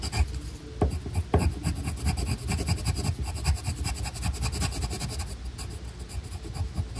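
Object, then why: Colored pencil on a paper sheet. A black colored pencil draws and rubs stripe lines on a paper coloring sheet, shown in close-up. The sound is a steady, low, papery scratching and rasping made of many short strokes, with a few sharper scrapes near the start.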